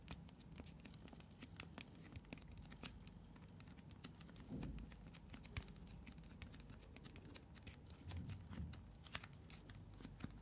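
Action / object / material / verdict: tap / small plastic container / plastic / none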